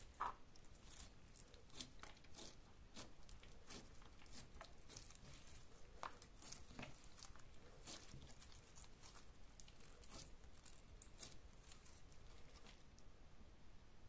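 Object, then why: Gel slime blob. A palm-sized blob of soft, solid, clear golden-orange gel slime with gold flakes sits on a beige table and is pressed and poked with latex-gloved fingertips, then lifted and stretched in both hands. Quiet, wet squishy pops and sticky crackles come in a steady run of short bright clicks over a low, soft background, with one sharper pop at the very start.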